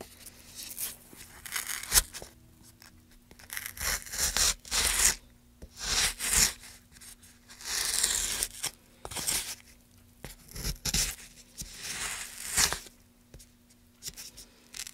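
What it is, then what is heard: Pine wood block being carved. A gouge carves and scrapes along a groove in a solid block of light pine wood. Repeated short, bright, dry tearing strokes with scratchy high hiss come in separate bursts with quiet gaps between them. A faint low hum sits underneath.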